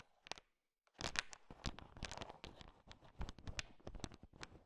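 A thin wooden stick stirs and taps through a bowl heaped with small, hard, sugar-shelled peanut M&Ms. After a brief rattle and a short silence, a steady run of crisp clicking, scraping and crunching follows as the candies shift and knock against each other.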